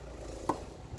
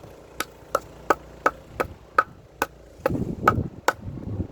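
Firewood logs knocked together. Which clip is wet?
The first.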